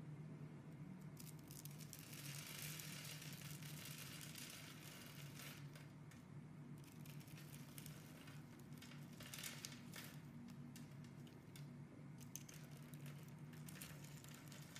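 A utility knife blade scrapes small crumbly cubes off a solid green rectangular bar of soap that has been scored into a grid. The result is a quiet, steady stream of dry scraping and crinkly crackling, with bright gritty bursts that come and go over a low, even hum.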